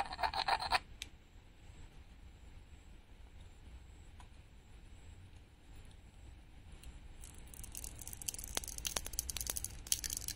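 A small, flat, solid pink painted wooden toy peach with a glitter sticker is held in the hand while the tip of metal tweezers scratches and peels at the sticker surface. A bright crackling burst opens the clip, and the sound then settles into a quiet, steady scratching. It builds to dense, sharp, high scraping and ticking clicks near the end.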